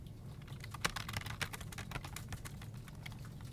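One hand types with its fingertips on a full-size black plastic desktop keyboard with hollow keycaps, pressing the keys in a steady run of quick, dry clicks. Each tap is short and bright with almost no ring, over a constant low hum, and a few keystrokes land louder than the rest.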